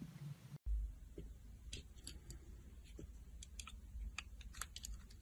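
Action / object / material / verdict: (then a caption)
scrape / bar of soap cut with a metal blade / soap / none. A solid green oval soap bar held in the palm has ridges scored into it and is carved with a metal utility knife blade. Short, crisp scraping clicks from the blade cutting the soap repeat over a steady low rumble, with a brief silent break near the start.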